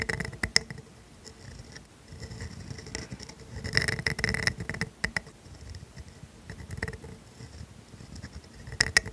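A pointed steel calligraphy dip pen nib in a holder, held by a hand with painted nails, writes cursive letters across a thin sheet of grid-ruled writing paper lying flat. The nib makes a continuous, fine scratching on the paper, with bright, high squeaks and soft low rustles that rise and fall with the strokes.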